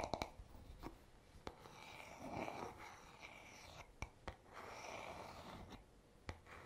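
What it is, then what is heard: Wooden hairbrush back. Fingertips slowly rub and scratch across the smooth, solid wooden back of a paddle hairbrush held in the hand. The result is a quiet, soft, airy scraping texture, broken by a few sharp, short ticks.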